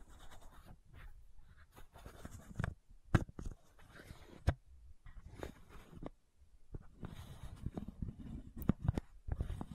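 Long nails scratch and tap the cap and body of a white plastic fish oil supplement bottle with its cap on, lying on its side by the microphone. Quiet bursts of dry, rustling scratching are broken by short gaps and a few sharper, louder taps. The sound is soft and low-heavy, and each tap dies away almost instantly.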